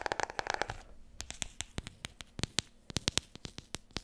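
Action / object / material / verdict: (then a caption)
tap / hardcover book / cardboard / none. Long nails tap quickly on the spine and cover of a large, solid, glossy hardcover book. The taps are sharp, bright clicks that die away almost instantly. A dense flurry in the first second gives way to sparser, irregular taps over a quiet background.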